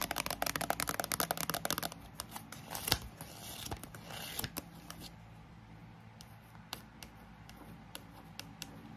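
A thick paperback bilingual dictionary, a solid block of paper with a glossy card cover, is held up and tapped and scratched with long acrylic nails. A rapid, dense burst of sharp, bright taps gives way to rough scratching, then sparser isolated taps. A fan hums steadily in the background throughout.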